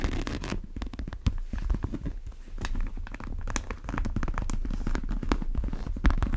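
Long nails scratch the side and leather strap of a large brown monogram coated-canvas tote bag. Dense, rapid scratching and scraping strokes layer over a heavy low rumble, with brief brighter rasps cutting through.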